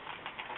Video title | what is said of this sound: Holiday Cards | you want to shake it up but you want to hear that metal ball